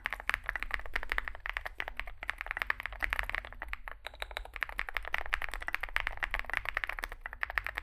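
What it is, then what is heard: Mechanical keyboard with plastic keycaps. Fingertips type continuously on a small Zoom65 65% mechanical keyboard with a dark case and white and grey plastic keycaps. Rapid, overlapping clacks come through with a bright, crisp edge over a faint steady low rumble. Each keystroke dies away almost instantly.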